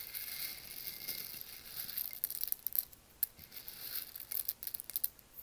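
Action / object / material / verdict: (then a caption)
drop / roasted coffee beans in a stone mortar / coffee beans / none. Fingertips drop and stir whole roasted coffee beans in a porous volcanic stone mortar, so the beans clatter against each other and the stone. A soft, steady high rustle in the first half gives way to sharper, scattered bright clicks and ticks with almost no low end and very short decay.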